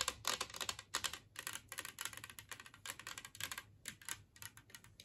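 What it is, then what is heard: Ceramic plate tapped with fingernails. A large glazed ceramic Christmas tree-shaped serving plate, lying empty on a wooden table, is tapped rapidly with long nails. The result is quiet, bright, crisp clicking taps in uneven bursts, each dying away almost instantly with very little low end.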